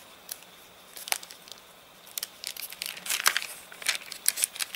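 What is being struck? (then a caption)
Paper catalogue pages. An open paper catalogue whose pages dried crinkled and stiff after getting wet in rain, its page rubbed and pressed flat by a palm and fingertips. Dry, bright crinkling and crackling comes in quick bursts, sparse at first and then denser and louder toward the end, with almost no low end.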